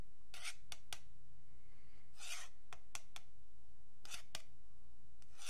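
A thin metal pick scratches along the surface of a long, flat, solid wooden yardstick held by fingertips. The sound is a series of bright, raspy scrapes, some brief and some longer, over a faint low hum.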